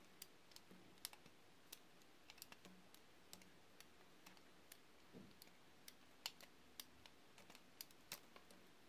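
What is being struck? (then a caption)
Glycerin soap bar. A solid green translucent, glycerin-like bar of soap is held in the hand and shaved into strips with a metal roller cutter tool. Many short, sharp, bright clicks and ticks come at an irregular pace over a soft, steady low hum. The overall level stays quiet.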